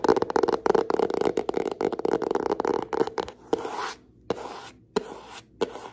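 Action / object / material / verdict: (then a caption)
tap / hardcover notebook with board cover / cardboard / none. Long nails tap and scratch the front cover of a hand-sized yellow hardcover notebook with an elastic band, held upright with its bound pages solid. A dense, rapid run of dry clicking taps and scratches fills the first three seconds. It thins into a few separate sharp taps, each followed by a short soft scrape.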